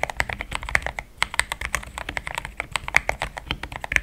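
Fast typing with the fingertips of both hands on a compact pink-white mechanical keyboard with thick plastic XDA keycaps, a polycarbonate plate and linear switches, resting on a desk mat. A dense run of about thirty short, bright clacks with a slight low thump, each dying almost instantly.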